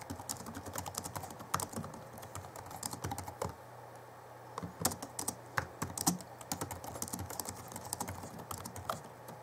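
Fingertips of both hands type rapidly on the backlit chiclet keyboard of a 2011 Alienware M11x2 laptop with plastic keys, producing dense, crisp clicky key taps. The typing pauses briefly near the middle before resuming in quick bursts, over a faint steady low hum.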